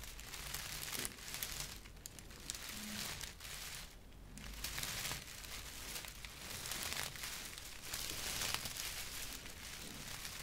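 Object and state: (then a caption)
Straw broom bristles. A large bundle of natural straw broom bristles, tied with blue string and tape, is held up close and rubbed and scratched with fingertips and long nails. The result is a continuous, bright, dry crinkling and crackling rustle that swells and eases in waves, with a faint low hum underneath.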